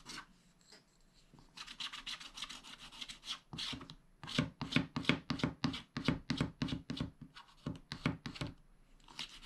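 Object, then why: Coated scratch-art paper with a wooden stylus. One hand holds a spiral-bound scratch-art pad flat while the other scratches lines into its thin black coating with a wooden scratch stylus, exposing the colored foil paper beneath. A rapid, uneven series of short, dry, rasping strokes is heard, each a brief bright burst with a low papery body, separated by a few brief pauses.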